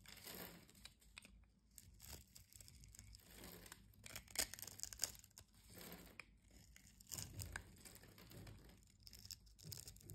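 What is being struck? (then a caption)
Bar of soap scraped with a metal blade. A solid brown soap bar held in the hand is scraped with a metal utility-knife blade, breaking off crumbly cubes. Dry, bright scraping and crackling crunches come in quick, uneven bursts at a low level, with a few sharper crisp snaps midway.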